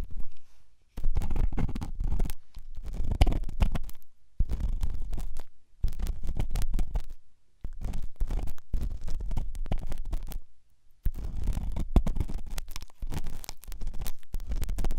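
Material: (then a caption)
Silicone. The tip of a grey-and-white pen is worked inside the ear canal of the left white silicone dummy ear on a binaural microphone, which is soft and solid, in a rubbing, scratching ear-cleaning action. The result is deep, muffled rumbling and scraping, almost all low in pitch, in dense bursts of a few seconds each separated by brief silences.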